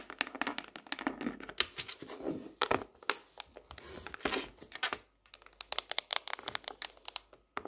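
Long nails tap rapidly along the edge and underside of a lifted tropical leaf-print hardcover notebook. The clip is a dense stream of quick, dry, bright clicks and scratchy, crinkly taps with almost no low end. Brief quiet gaps fall near the five-second mark and just before the end.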